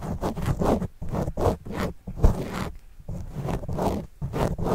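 A white plastic stylus tip writes and scratches across the surface of a black foam microphone windscreen held close. It makes a run of muffled, bassy scraping strokes in quick bursts with short pauses between them, heavy in low rumble with little brightness.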